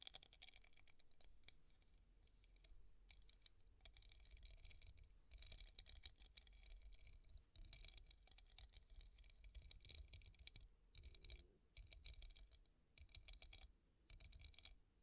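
A tall, hollow, empty clear glass vase with raised hobnail bumps, standing on a table, is tapped with the long painted nails of both hands. Rapid, continuous bright clicks and patters come in quick bursts with brief pauses. The taps are quiet and die away almost instantly over a low, steady rumble.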